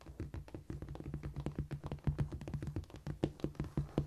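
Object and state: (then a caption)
Cork floor. Long painted nails and fingertips tap quickly across a flat, solid cork floor surface. A rapid, uneven run of soft, dull thuds comes through, with low body around 145 Hz and light clicky edges. Each tap dies almost at once with no ring.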